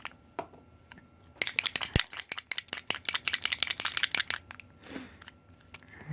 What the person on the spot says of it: shake it until you hear that mixing ball go